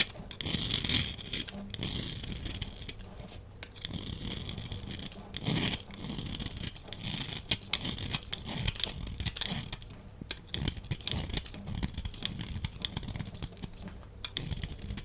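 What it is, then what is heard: Bar soap being carved. A solid red and white striped bar soap, held in the hand, is carved with a utility knife blade into crumbly bits. A steady stream of crisp scraping and crumbling clicks is heard, with bright, hissy texture over a soft low rumble, and a slightly louder burst near the start.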